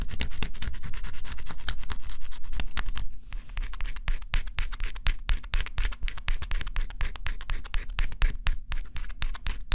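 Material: Cardboard.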